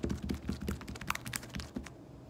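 A soft pink slime blob on a glossy table is poked and pressed with fingertips, then pulled and stretched upward by hand. It makes quick sticky squelches and small pops with a deep, low-heavy body and brief bright crackles. The sounds fade into quiet near the end.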